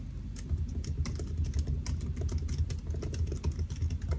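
Fingertips of both hands type on the black plastic keys of a solid silver aluminium laptop resting on a white desk. A steady run of soft, quick key taps comes with a dull, low thump under each press and short bright ticks above. The taps fade fast over a continuous low rumble.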